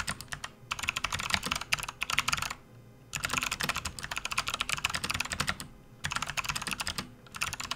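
Fingertips type on a full-size plastic RGB backlit computer keyboard resting on a desk mat, giving rapid, bright, clicky keystrokes in bursts separated by short pauses. At the end, the left hand moves off the keys.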